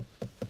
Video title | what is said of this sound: New 2020 Peugeot 2008 - can Peugeot's new baby SUV become a class leader? | tap some of the plastics there and there. Yeah, really nice.